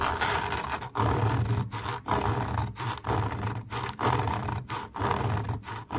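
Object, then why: Camouflage fabric mesh cover. Long nails scratch and rub across a camouflage fabric mesh cover in repeated, uneven strokes with brief pauses between them. Each stroke gives a coarse, rasping scrape with a low rumbling body and a steady tone around 1 kHz, while little of the sound reaches the high end.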